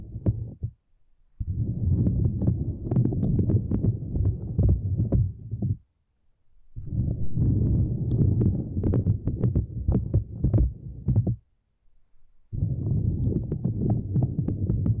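Long nails on both hands scratch and tap across a small, flat purple silicone lattice mat resting on the microphones. This produces dense, muffled thumping and rustling that is deep and low-heavy, with quick taps throughout. The sound comes in several long bursts separated by short silent pauses.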